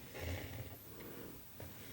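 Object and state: Nothing is struck.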